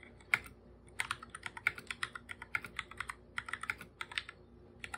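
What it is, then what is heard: Plastic computer keyboard. Bare fingertips type on a full-size black computer keyboard with plastic keycaps and a hollow body. Quick, irregular taps produce sharp, bright plastic clicks that stop almost instantly, with very little low end beneath them.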